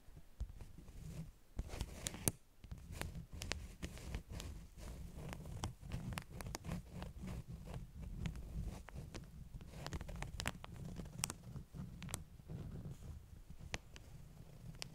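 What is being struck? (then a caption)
Stack of beeswax-coated cotton wraps. Long nails tap and scratch the top sheets of a stack of flat beeswax-coated cotton wraps. Quick, sharp clicks with bright edges come irregularly over a soft, steady low rustle. The tapping and scratching continue at a fairly even, quiet level throughout.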